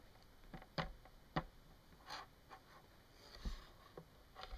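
Long nails tap and click along the hook and bar of a thin, solid yellow plastic clothes hanger lying on a wooden table. Several quiet, short, dry clicks with a bright edge come at uneven intervals, each dying away almost at once over a faint low background.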